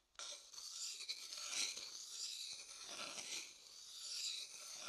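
The inside of an empty, light-colored hollow wooden bowl, held in the hand, is stirred and scraped with a wooden stick. The result is a continuous, quiet, bright rasping scrape that swells and fades as the stick moves around the bowl.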